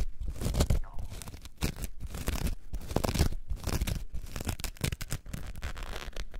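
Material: Foam.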